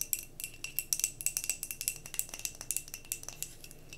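Long nails rapidly tap and scratch a tilted glass mason jar candle filled with solid wax. The sound is a quick series of bright, crisp clicks with very short ring, over a faint scratchy hiss.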